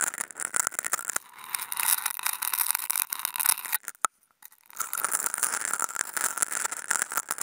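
Two wooden toothpicks fitted with contact mics scratch across a flat white non-woven fabric sheet, producing dense, bright, crackly scraping with no low end and a steady tone near 1.3 kHz. Around the four-second mark the scratching stops for a near-silent moment broken by one sharp click, then the rough scraping resumes.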